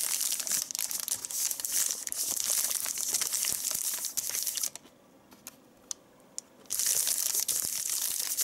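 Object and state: Crinkled paper sheet.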